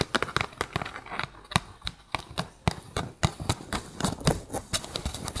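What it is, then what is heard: Empty cardboard tube, hollow. Fingertips with short pink nails tap an empty, hollow brown cardboard toilet paper tube lying on a fluffy mat. About two dozen quick, dry taps land in an uneven rhythm. Each has a soft, hollow low thump and a brief bright click that dies away almost instantly.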